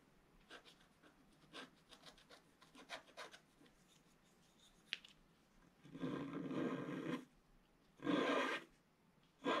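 A wooden stylus scratches fine lines into a flat, wax-coated scratch art page lying on a table, near its lower right area. Short, soft, dry scratches come first, followed by longer, louder sustained rasping strokes. The scratching is bright and papery.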